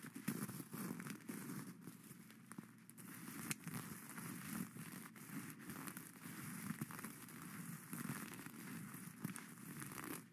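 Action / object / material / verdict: scrape / plastic sequins sewn on cloth / plastic / none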